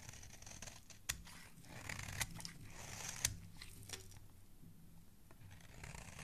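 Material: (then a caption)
Soap. A metal blade scrapes the face of a solid, palm-sized red bar of soap held in hand, shaving off ridges and flakes. The quiet, bright, crisp scraping runs throughout over a low hum, with three sharp clicks standing out.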